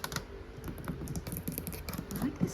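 Fingernails tap quickly on the hard plastic shell of a suitcase, making a fast, clicky, typing-like patter of short, dry taps. The taps are low and soft, with little ring.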